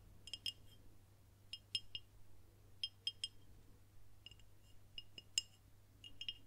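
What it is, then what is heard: Glass beer bottle. A dark glass beer bottle with a label, held horizontally near the microphone, is tapped with long nails. About fourteen quick, bright clinks come in small clusters, each dying away almost at once, with a ringing tone near 2.8 kHz. A steady low hum runs underneath throughout.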